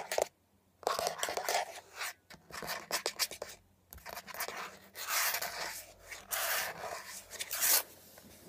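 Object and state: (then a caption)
Plastic air freshener dispenser housing. Long nails quickly tap and scratch a beige hollow plastic air freshener dispenser housing with leaf cutouts as it is tilted and then laid on its side. The sound is a dense run of bright, clicky taps and dry, hissy scratches with short, sharp attacks. Brief quiet gaps come near the start and around the middle.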